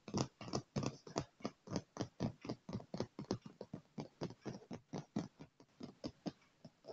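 Both hands drum fast on a dark padded leather chair armrest with fingertips and short nails. About 25 soft, dull taps land at roughly four per second in a slightly uneven patter. Each tap has a low padded thud with a faint bright nail click and dies away almost instantly.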